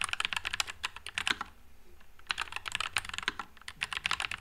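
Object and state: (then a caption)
Mechanical keyboard with plastic keycaps. Fingertips type continuously on a white low-profile NuPhy Air96 mechanical keyboard with Wisteria switches and plastic keycaps. It makes rapid, bright, clacky keystrokes that stop almost instantly, with a short pause midway before the typing resumes.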